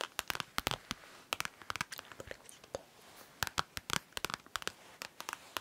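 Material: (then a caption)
Vinyl. A hand-sized holographic vinyl brush case is tapped and scratched with long nails, giving a quick run of sharp, bright clicks and crinkly scratches with almost no ring. The taps come in irregular clusters over soft, quiet rustling, mostly high-pitched with little low end.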